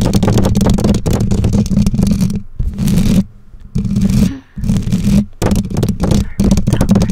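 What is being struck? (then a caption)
Metal mesh microphone grille. Long nails scratch and tap the bare black metal mesh grille of a condenser microphone. The result is a dense, continuous run of rapid, boomy scrapes and taps, heavy in the low end with a steady tone near 180 Hz. The run breaks off in a few short quiet gaps before resuming.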